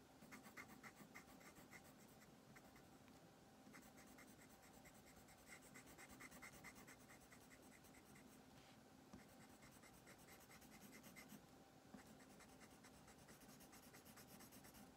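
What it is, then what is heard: Paper coloring sheet. A wooden colored pencil makes short scratching strokes on a thin paper coloring page, and on the book spines, while the page rests on a wooden table and the other hand holds the sheet flat. The quiet scratching continues steadily throughout, with rapid rhythmic bright strokes over a soft, even hiss.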